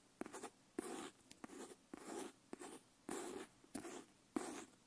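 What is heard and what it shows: Long nails tap and scratch the leather cover and strap of a brown leather wrap-cover notebook with paper pages, held upright. Quiet, sharp taps alternate with short, hissy scratching strokes in an uneven rhythm.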